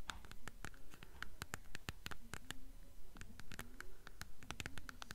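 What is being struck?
Hardcover book spine with paper dust jacket.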